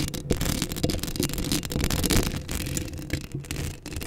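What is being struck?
Metal mesh microphone grille.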